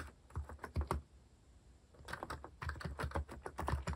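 Fingertips type quickly on a compact white-cased mechanical keyboard with plastic cat-themed keycaps. A short run of deep, muted clacks gives way to a brief pause, then a dense, continuous stretch of keystrokes.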